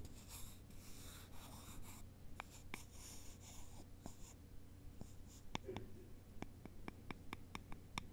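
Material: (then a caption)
Wood. Two thin, long, solid wooden sticks are held in both hands, crossed, and rubbed and scratched against each other with the fingertips. Soft, breathy scratching comes first, then a run of sharp, dry, bright clicks that die away almost instantly. A steady low hum sits underneath throughout.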